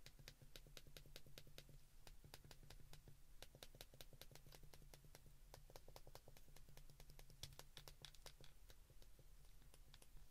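Thumbs and index fingertips rapidly press the number keys on an open white plastic flip phone. A fast, steady stream of short, bright clicks continues throughout, over a constant low hum.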